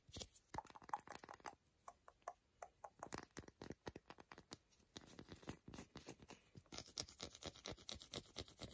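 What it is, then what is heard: Milk chocolate bar, scratched and tapped. A piece of solid milk chocolate bar a few centimetres wide, held in the hand over foil, is scratched and rubbed with long glittery nails and fingertips. It makes a quiet, fast run of short, dry scratching and tapping clicks with a bright edge. The clicks come in dense bursts and have almost no ring.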